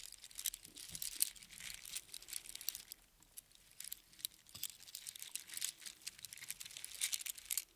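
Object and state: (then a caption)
Strand of seashells on string. A strand of small, hollow spiral seashells on a string is held in the hands and rubbed together, then lifted so it hangs and clinks above an open palm. The result is a quiet, dense stream of bright, crisp clicks and crinkly rattling with almost no low end. The sound is busier at the start and end, with a sparser, softer stretch in the middle.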